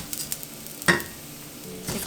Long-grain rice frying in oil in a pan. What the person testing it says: ils tonnent comme du pop-corn